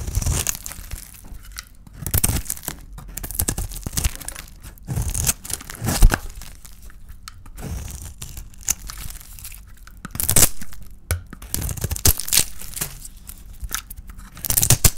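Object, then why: Bar of soap with a painted coating, cut with a small blade. A palm-sized solid oval bar of dry white soap with a red painted shell is held in the hand and shaved with a small metal blade. Repeated dry, crisp scraping and crunching strokes tear through the bar, each with a bright crackle and a soft low thump. Quieter crinkly pauses fall between the bursts.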